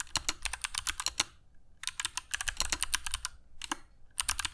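Fingertips of both hands type continuously on a compact black mechanical keyboard with dark PBT plastic keycaps and Kailh Box Jade switches, resting on a cork desk mat. Rapid, bright, crisp clicks come in three bursts separated by short pauses, each click dying away almost instantly.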